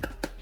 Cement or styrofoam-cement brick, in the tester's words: ハンマーで両方のレンガを軽く叩いてみてください。しっかりとした音がします。